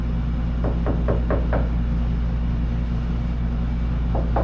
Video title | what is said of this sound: 1941 Chevy Truck Restoration, Cut and buff the rear, The finished cab show, (Comin up Muddy) | when you tap it from the outside, no more tinny sound